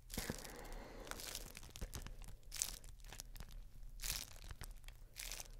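A clear, thin, flexible plastic bubble wrap sheet is held up in both hands while the fingertips and nails squeeze and crinkle it. Bright crinkling and tearing-like rustles come in bursts with sharp little crackles between them, over a steady low hum.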